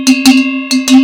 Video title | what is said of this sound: Les quatre sonnailles provençales | ça c'est le Rodon qui va dire à tout le monde allez on y va on marche on avance